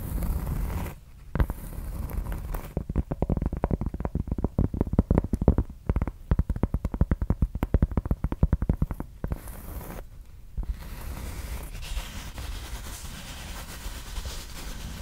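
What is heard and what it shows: A round board of solid, thin cork, held close to the mic with both hands, is scratched with the long red nails of both hands. A dense run of quick, low, muffled scratching strokes fills the middle of the clip, with softer rustling scratches before and after.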